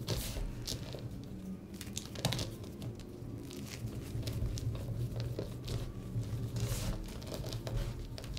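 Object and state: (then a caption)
Crushed gym chalk. Dry, pressed blue-green gym chalk in chunks and powder is squeezed, crushed and rubbed between the fingertips and palms. Soft, continuous crumbling and crinkling is heard, with brief bright crunches over a low, steady rumble throughout.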